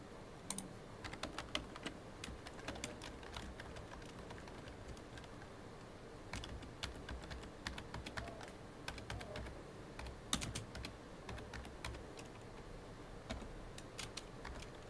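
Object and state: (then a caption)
Plastic computer keyboard. Fingertips tap the keys of a full-size, hollow black plastic computer keyboard in continuous typing. Quiet, bright clicks come in uneven bursts over a low background rumble, with a lull of sparser keystrokes in the middle before the typing picks up again. Each tap stops almost at once with no ring.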